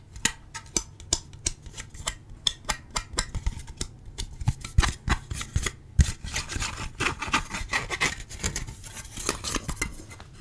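A hand-sized, hollow, translucent red plastic shell is held in both hands and quickly scratched and rubbed with fingertips and nails. Sharp, dry, rasping scrapes and clicks come in a fast, uneven rhythm, with bright, hissy detail over a low, hollow thump. For the first six seconds the strokes stay short and separate; after that they blur into a denser, continuous scratching and rubbing.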